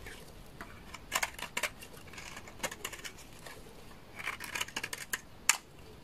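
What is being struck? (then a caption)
Laundry soap bar shaved with a blade. A large, solid beige bar of dry laundry soap is shaved with a utility knife blade, curling off shavings. About 14 short, dry, bright scraping cuts come in irregular bursts over a quiet background, each crisp and ending almost instantly with no ring.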